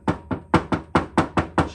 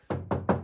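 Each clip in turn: First: A quick run of nine hard, dry knocks on an asbestos-cement lamp cover, clacking like dropped tile. Second: Three dull, low knocks that die almost at once: a fiberglass lamp cover sounding like normal fibre.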